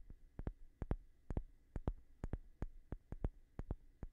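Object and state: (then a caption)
Wooden block. A light-colored, palm-sized solid wooden block is held steady and tapped with fingertips and short nails. Nineteen soft, dry knocks come in quick, uneven pairs. Each is mostly low and dull, with a faint clicky edge and almost no ring.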